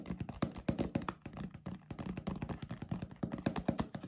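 A yellow paperboard drink carton with a white plastic cap, hollow and apparently filled with liquid, is tapped and scratched with fingertips and nails, then shaken vigorously. The result is a rapid, steady run of soft, dull, hollow taps and thunks, mostly low in tone around 234 Hz with very little brightness. Each tap dies away almost at once.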